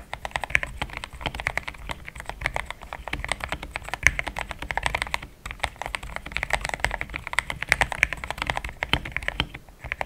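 Fingertips of both hands type steadily on a compact pink-and-cream plastic mechanical keyboard with thick XDA-profile keycaps, Gateron Yellow switches and a polycarbonate plate, sitting on a desk mat. A continuous stream of quick, short clacks with a bright, creamy tone fills the clip, with a brief pause around the middle.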